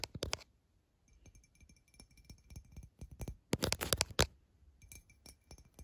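Long fingernails tap the side of a tall, clear, empty glass tumbler near its rim as it lies on its side, with droplets still inside. Quick, irregular clicking taps give off faint, high, glassy ringing tones. A louder, denser burst of tapping comes in the middle before the taps settle back to softer clicks.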